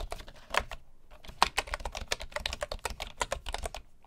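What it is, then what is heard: Bamboo wooden keyboard. Fingertips of both hands type on a full-size bamboo wood keyboard with a hollow body and wooden keys. About twenty short, dry, clicky taps with a hollow woody knock and a bright edge come in a brief burst, pause for about half a second, then resume as steady, uneven typing that fades slightly at the end.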